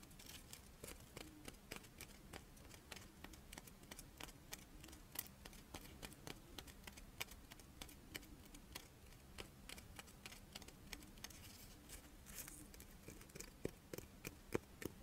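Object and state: Chocolate monaka wafer.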